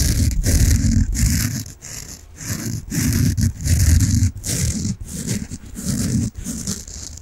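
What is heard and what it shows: A peach foam bath sponge held close to the mic is rubbed and scratched with nails and fingertips. The result is deep, muffled scratching with a heavy low rumble and a faint bright hiss, coming in uneven bursts of strokes separated by brief quiet dips.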